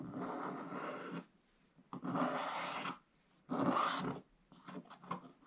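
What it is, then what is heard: Scratch-art paper page being scraped. A wooden stick held in the hand scrapes large areas off the black wax coating of a scratch-art book page. Three long, rough scraping and rubbing strokes come in turn with brief pauses between them. A few shorter, lighter strokes follow, with a dry, papery rasp centered around 1.2 kHz.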